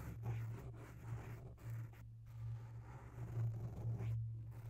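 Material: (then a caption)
Foam. Long bare natural nails scratch slowly along the side of a grey oval foam windscreen on a microphone, soft and porous. The close, muffled scratching comes in uneven strokes separated by brief pauses, over a steady low hum.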